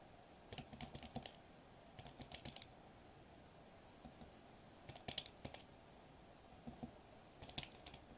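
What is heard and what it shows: Fingertips tap rapidly on a sheet of foil-laminated plastic bubble wrap lying flat on a table. The sound is quick bursts of dry, bright clicks and crinkly ticks, each dying away almost instantly. Quiet pauses separate the bursts over a soft background hiss.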